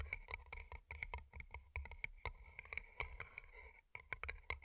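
Long glittery nails tap and scratch two small, hollow, empty paper cups turned upside down and covered in colorful plastic rhinestones, working over the rhinestone sides and the cardboard bases, with earbud mics underneath. A rapid, uneven series of sharp, dry clicks rings with a bright tone near 2.2 kHz, mixed with soft scratchy rustling and low thumps. Each tap dies away almost instantly.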